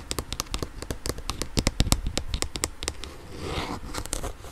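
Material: Plastic.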